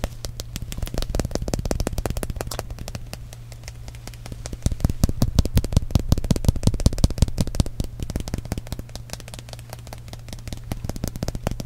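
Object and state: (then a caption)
Plastic balloon-paste tube. A small, hollow purple-and-white plastic squeeze tube of balloon paste is held in one hand and tapped and scratched with the fingernails and fingertips of the other. It makes a rapid, irregular stream of soft, dry, clicky taps and scratches over a steady low hum. The tapping grows louder and denser in the middle before easing back to quieter patter.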